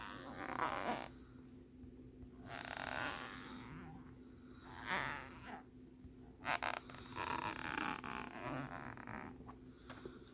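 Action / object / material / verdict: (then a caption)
scrape / thin plastic lenticular postcard / plastic / none. A thin, flat plastic lenticular postcard with a jellyfish image, held in the hand, is scratched across its ridged surface with fingernails. Bursts of bright, raspy scratching come and go over a quiet, steady low hum. Two sharp clicks stand out near the middle.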